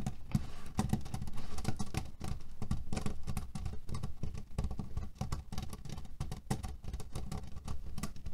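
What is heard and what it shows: Fingernails rapidly tap and scratch on a cotton cushion filled with cherry pits. The result is a dense, steady patter of short, dull, low thumps with faint rustling crackle, each sound dying away almost instantly.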